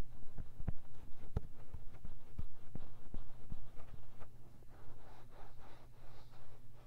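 Fingertips scratch and rub the silicone ear of a 3Dio binaural microphone set in its round white plastic housing, with dry, fast scratching. Close, muffled scratches and sharp scrapes come in quick irregular bursts over a steady low hum. The sound shifts to a softer, airier rubbing near the end.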